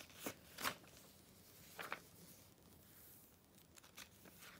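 A hand flips the pages of an open glossy paper Vogue magazine, July 2013 issue, then rubs its palm and fingertips across the paper. Short, bright, crisp paper swishes and crackles stand out over a quiet, soft rustling background. Between them are gentle rubbing sounds with little low end.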